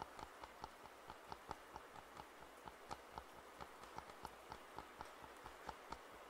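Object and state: Plastic over-ear headphones.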